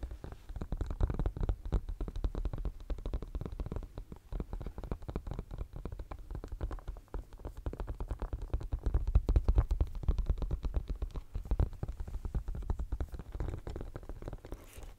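Fingernails scratch rapidly over the raised studs of a pink silicone pencil case held close to the microphone. The result is a dense, continuous stream of soft, muffled scratching and thumping, almost entirely deep and low with no bright edge. It swells slightly louder partway through before easing off.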